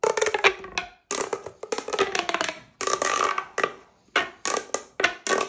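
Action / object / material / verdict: scrape / corrugated plastic pop tube / plastic / none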